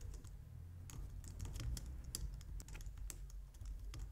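Both hands type on a white plastic low-profile wireless keyboard, striking the keys with long painted nails and fingertips. The result is a steady stream of quick, bright, light clicks and taps over a low, constant rumble.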